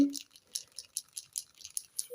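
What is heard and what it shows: A plastic brush-tip alcohol-ink marker is shaken so the small mixing ball inside rattles against the barrel, producing a run of about ten light, bright clicks over two seconds. The ball mixes the ink, which is why these markers need shaking before use.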